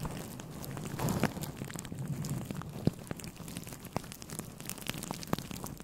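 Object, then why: Synthetic fur microphone windscreen. A grey fluffy synthetic fur windscreen on a microphone is rubbed and scratched with the fingertips of both hands. It makes a soft, low, rumbling fuzz that swells briefly near the start, with faint crackles and a few sharp clicks scattered throughout.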